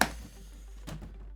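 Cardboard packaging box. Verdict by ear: Empty.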